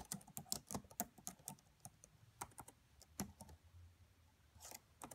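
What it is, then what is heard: Plastic laptop keyboard. Long nails and fingertips tap quietly on the black plastic keys of a red laptop. About seventeen short, dry, bright clicks come in an uneven typing rhythm, each fading almost instantly, with a soft low thud beneath some taps.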